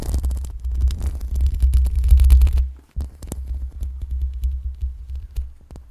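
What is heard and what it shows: Long pink acrylic nails slowly scratch the metal mesh grille of a black USB microphone, producing a deep, throbbing rumble around 66 Hz layered with crackling, scraping textures. The scratching swells, drops out briefly near the three-second mark, then resumes more softly in uneven strokes.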